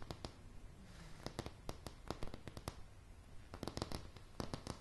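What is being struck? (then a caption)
Pine floorboards. Solid, light pine floorboards are tapped with the long, polished nails of both hands. About twenty sharp, dry clicks come in quick, uneven bursts, each dying away almost instantly, over a low, steady rumble.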